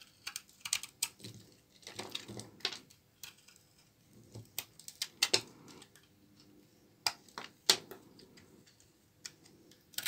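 A short knife blade shaves brittle chunks off a solid brown bar of old, dry laundry soap held in the hand. Irregular, crisp, bright cracks and short scrapes are heard, each dying away almost instantly, with quiet pauses between bursts of cutting.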